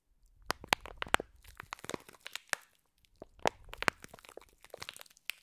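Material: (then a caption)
Foam beads, plastic. Long nails squeeze and crunch a clear plastic pack of green foam bead slime. Quiet, rapid crackling and crinkling snaps with bright, sharp edges come in two bursts separated by a brief pause, with little low end and no ring.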